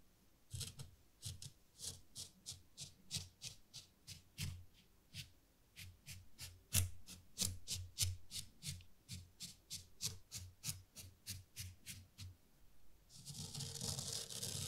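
A small rake is dragged through fine white sand in a wooden zen garden tray, making lines. Quiet, quick rasping strokes repeat in a loose rhythm, each a bright gritty scrape with a soft low thud beneath. Near the end they blend into a continuous sandy hiss.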